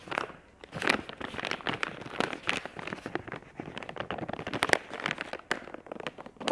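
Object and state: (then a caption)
Crinkly plastic film pouch. Long acrylic nails tap and scratch the crinkly surface of a soft, hollow, flexible plastic film wet wipes pack printed with chamomile flowers, held in both hands. The result is a dense run of crisp crinkles, sharp taps and scratchy rustles, bright and thin with almost no low end. Each sound cuts off instantly, without ringing.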